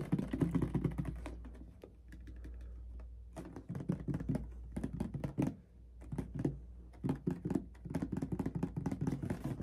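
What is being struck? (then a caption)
Plastic bottle partly filled with liquid. A medium clear plastic mouthwash bottle with a white cap, partly filled with red liquid, is tapped and scratched with fingertips and nails. Rapid bursts of soft, hollow tapping clicks alternate with scratchy rustling and brief quieter pauses. A steady low hum runs underneath throughout.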